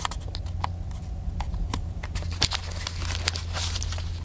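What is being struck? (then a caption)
Plastic camcorder casing. Fingertips tap the casing of a small black handheld plastic camcorder, producing a quick run of short, dry, bright clicks and ticks. A steady low hum sits underneath the tapping throughout.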